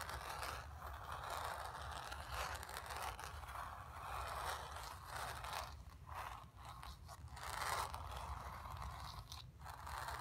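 Long nails scratch across the surface of a painted, stretched canvas, making a steady, dry scraping and rustling texture centered around 1 kHz with brighter, high grainy edges. The strokes surge and fade in overlapping passes over a low, constant hum, with brief quieter gaps between some strokes.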